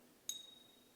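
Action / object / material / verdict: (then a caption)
tap / silver bullion coin tapped with a key / silver / real. A silver Eagle bullion coin is tapped once with a key, giving a single bright, high ping near 3.8 kHz that rings on faintly for a moment. The ring confirms the coin is real silver.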